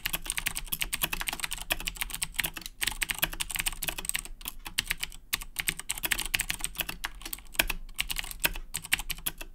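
Both hands type continuously with their fingertips on a black plastic Razer Blackwidow 2010 Edition mechanical keyboard with Cherry MX Blue switches. A rapid, steady stream of sharp, bright clicks with very short decay rises over a faint low background, with a few brief pauses between bursts.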